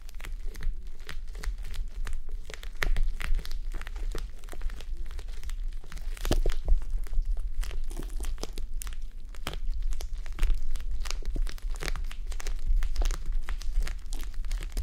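Long nails scratch the top and eye area of a red, clear plastic gel bead eye mask resting on a mannequin head. A dense run of sharp, crinkly scratches and clicks sounds over a steady low hum. The scratching continues at a fairly even level throughout the clip, with a few louder bursts.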